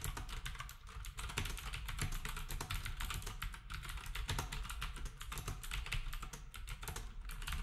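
Fingertips type steadily on a black compact plastic typewriter-style keyboard with round plastic keycaps, while the other devices nearby stay untouched. The clip is a dense, continuous run of quick, bright clicks and clacks over a low, thumpy base, with brief pauses before the typing picks back up.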